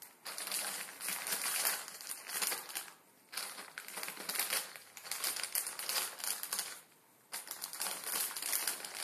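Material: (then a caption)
Plastic film. A full Maruchan instant ramen packet, plastic film around a dry noodle block, rests on a wooden table and is pinched, crinkled and crushed with fingertips. Bright, dense crackling comes in three long bursts separated by two brief silences, with almost no low end.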